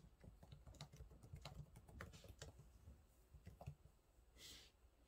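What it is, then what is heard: Plastic laptop keyboard. Fingertips type on the low-profile plastic keys of a silver laptop keyboard, producing a quiet, steady run of soft, dull taps and clicks. Near the end, the typing pauses for a brief, bright hiss before a few more light taps.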